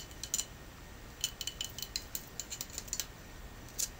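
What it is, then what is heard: Soapstone carving tapped with nails. Natural fingernails tap on a Buddha incense burner carved from soapstone, whose surface is cool and hard. Around fourteen short, bright clicks sound in an irregular rhythm, each ringing high near 3 kHz and dying away almost at once.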